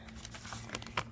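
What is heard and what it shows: A thin sheet of coffee-dyed paper is shaken, giving a quick run of light, dry-sounding crinkles with a sharper crackle near the end. Despite the sound, the paper is still damp: it only bends rather than snapping, so it is not dry yet and would mildew if stacked.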